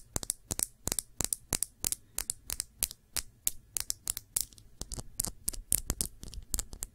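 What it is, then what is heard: Glass nail polish bottle. A small glass nail polish bottle with a black cap, filled with dark polish, is turned in the hands and tapped with long nails. Quick, bright clicky taps come in a steady stream with almost no ring, over a faint low hum.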